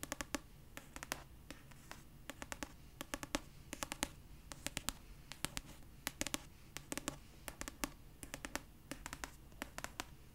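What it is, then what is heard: Paperback book tapped with fingernails. Long purple nails scratch and tap the paper cover of a pastel paperback copy of "Red, White & Royal Blue," a solid paper book held upright. Dozens of quick, dry, bright clicks come in irregular clusters over a soft, steady scratching hiss. Each tap dies away almost instantly, and the whole clip stays quiet.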